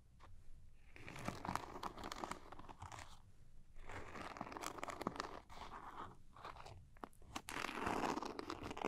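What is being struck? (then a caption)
Small zippered cosmetic pouch with a glitter-coated surface. Long nails tap and scratch the sparkly surface of a small zippered glitter-coated makeup pouch held in the hands. Dense, gritty crunching and rasping scrapes come in bursts, with sharp bright taps mixed in and brief quieter gaps between them. The overall level stays fairly quiet and close.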